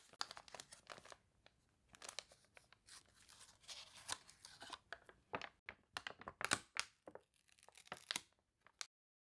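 An open paper toy catalog with water-wrinkled, wavy pages has a page lifted and turned by hands with long nails, then smoothed down. The stiff paper gives a quiet, dense run of bright, crackly crinkles and sharp crunchy snaps with almost no low end, ending in silence.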